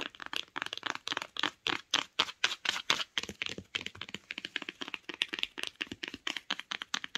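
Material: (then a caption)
Cardboard. Long acrylic nails tap rapidly on the spine and top edge of a closed hardcover book with a grey board cover and printed spine, resting on a blanket. Around forty quick, crisp, bright clicks come in an uneven rhythm, each dying away almost at once with almost no low end.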